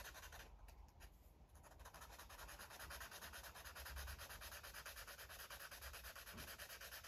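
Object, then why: Felt-tip marker on a paper coloring page. A red felt-tip marker is rubbed back and forth over a paper coloring book page to color in an airplane drawing, while the other hand holds the page flat. Quick, steady scratchy strokes, about three per second, make a bright, hissy rubbing sound over a faint low hum.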